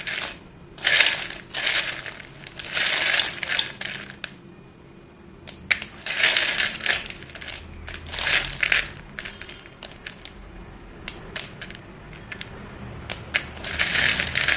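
A heap of solid white chalk sticks in a dark bowl is swept and raked with fingertips, and then a stick is held in both hands. The result is bursts of bright, clattering clicks as the sticks knock and slide against each other. Quieter stretches between them carry scattered sharp taps.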